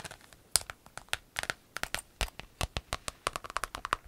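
A large, flat, rainbow-striped clear vinyl pencil case with metal grommets, empty and hollow, is handled and crinkled by hand with long acrylic nails. About two dozen quick, sharp crinkles and clicks follow in an uneven run, each snapping off almost at once with bright, crisp highs and little low end.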